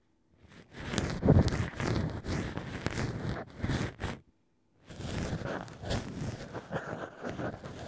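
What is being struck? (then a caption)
Wine cork with a drilled hole, scraped by a thin ear pick. A thin black ear pick scrapes and scratches inside the drilled hole of wine-bottle cork pieces set into a plush ear holder. It makes dull, low, rustling scratches in two stretches separated by a brief silence.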